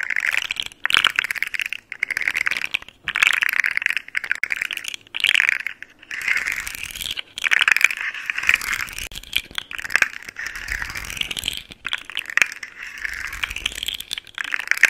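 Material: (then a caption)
Plastic. A hollow, hand-sized rainbow segmented plastic fidget slug toy, an articulated caterpillar, is held close and flexed and twisted between fingers with long nails. Its segments make dense, rapid clicking and rattling in bursts, broken by brief pauses. The sound is bright and crisp, centered around 2 kHz, with almost no low end.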